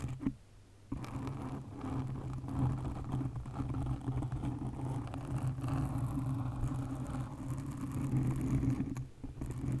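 Long nails scratch and tap on a black foam windscreen covering a condenser microphone. The result is a close, muffled rustling and scraping with a steady low hum and soft patter, after a brief quiet pause near the start. The sound stays dark and heavy in the lows throughout.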